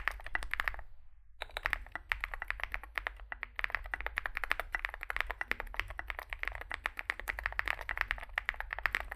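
Fingertips type continuously on a small 65% Zoom65 mechanical keyboard with a dark case and white and grey SA plastic keycaps. The result is a dense stream of short, dry clacks that stop almost instantly, centered around 1.9 kHz with bright edges. There is a brief pause near the one-second mark before the rapid typing resumes.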